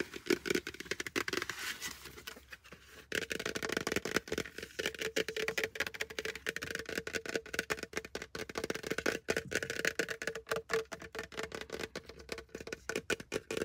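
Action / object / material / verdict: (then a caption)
tap / plastic hard hat / plastic / none. A plastic hard hat is tapped fast and aggressively with fingers. The result is a dense stream of sharp, dry clicks and knocks with a faint hollow tone around 400 Hz. There is a brief quieter pause near three seconds, then the rapid tapping resumes.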